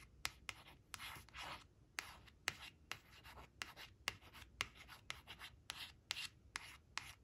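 Long nails trace and scratch over the image on a thin, flat, glossy coated cardboard flash card showing a green crayon, which rests on a fabric cloth. Sharp, bright clicks of the nails tapping the card punctuate soft, hissy scraping strokes, with about 14 distinct taps across the clip.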